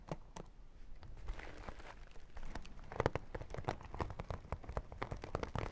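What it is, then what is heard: Vinyl makeup pouch. Long nails tap and scratch the holographic vinyl side of a small, hollow zippered makeup pouch. A rapid, uneven series of sharp, dry clicks rides over a soft crinkly scratching. The sound stays quiet and close, and each tap dies away at once without ringing.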